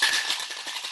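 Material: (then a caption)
Ice, metal. A cocktail shaker filled with large, hard draft ice cubes is shaken, giving a continuous bright rattle with a steady tone near 1.7 kHz and almost no low end. The rattle is loudest at the start and eases slightly over the second without stopping.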